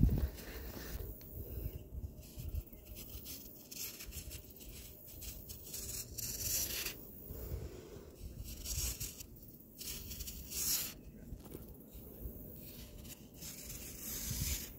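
A metal palette knife with a black handle scrapes along the surface of a large, solid, round tier of compacted layered sand, shaving sand off. Each pass makes a gritty, dry rasping scrape with bright, hissy bursts over a soft, low rumble, and loose sand falls away.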